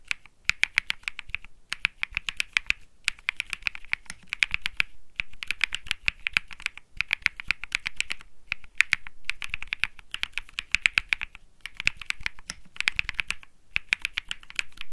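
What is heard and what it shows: Fingertips type on the plastic keycaps of a cream mechanical keyboard, seen from a low angle. The result is bursts of quick, sharp clicks with a bright, high-centered tone and almost no ring, broken by short pauses between bursts.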